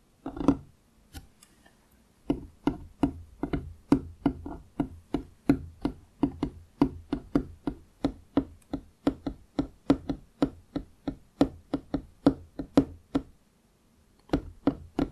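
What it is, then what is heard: Wooden tabletop. Fingertips and nails of both hands tap on a large, solid wooden desk top with visible grain, beside a foam-covered microphone. A steady run of short, dry knocks with a woody tone around 277 Hz, each with a bright clicky edge from the nails, dies away almost at once. The tapping starts after a few opening taps and a short pause, and resumes after a brief pause near the end.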